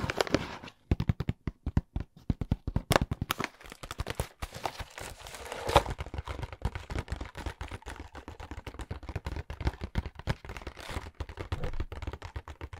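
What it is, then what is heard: Cardboard box. A hollow, blue printed cardboard product box is held in the hands and tapped and scratched with the fingernails. It makes a dense run of quick, dry, hollow taps with a low thumping body, broken by brief scratchy rustles. The taps stop dead with almost no ring.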